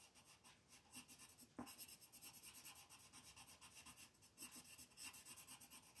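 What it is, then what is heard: Colored pencil shading on a paper sheet. A green colored pencil is rubbed and scratched in quick strokes across a flat white paper mandala coloring sheet on a table, shading leaves while the other hand holds the sheet. A quiet, steady run of bright, scratchy rasping strokes is heard, with one sharper scrape early on and a brief lull before the shading picks up again.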